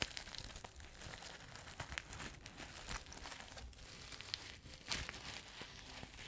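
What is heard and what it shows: A flat, multicolour sequin fabric pouch, soft and hollow, is held close to the microphone while long nails scratch and rub across its sequins. The result is a steady, bright, crinkly scratching and rustling with small clicky peaks and a faint low rumble underneath.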